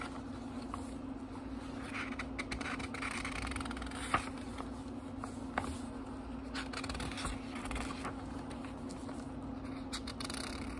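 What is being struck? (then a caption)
Small book with thin paper pages. Fingertips turn the thin paper pages of a small, thick book, giving soft, continuous rustles and brushing scrapes with brighter papery crackles. Two sharper page snaps stand out midway, over a steady low hum throughout.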